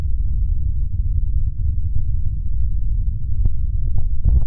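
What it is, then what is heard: Plastic microphone head shell. Flat fingers of both hands rub and tap the hollow gray plastic shell of a binaural dummy-head microphone. The result is a steady, muffled low rumble with almost nothing above the deep bass, broken near the end by a few brief, slightly sharper taps.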